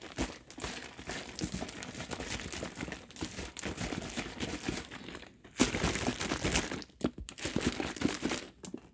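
Fingers grip a large plastic drink bottle, partly full of liquid, squeezing and crinkling its hollow plastic body and shaking it. Dense, bright crackling and crunching runs throughout with brief gaps. A louder, sharper burst of crinkling comes after the midpoint.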